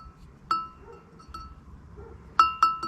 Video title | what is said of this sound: Building new weather stations: ESP, ESPHome and Arduino | yeah that sounds like glass